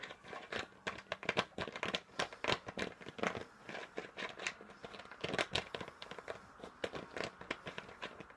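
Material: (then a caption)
Plastic. A large, hollow, apparently empty clear plastic soda bottle with a pink label is held in one hand while the fingertips of the other twist, tap and fiddle with its purple plastic screw cap. The result is a quick, uneven stream of short, bright plastic clicks, taps and crinkly scratching that die away almost instantly, with little low end.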